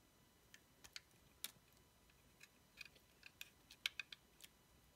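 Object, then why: Bar of soap scraped with a blade. A dark blade scrapes and cuts into an orange bar of solid soap with a laptop-cat sticker, held in the fingers. Thirteen quiet, sharp, bright crackling clicks come at irregular intervals over a faint hiss, each dying away almost at once.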